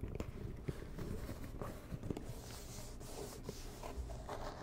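A medium, hollow, rigid white and red cardboard box is tapped and scratched with long nails. Soft, dull taps with very short decay mix with steady scratching, giving a quiet, low-heavy sound.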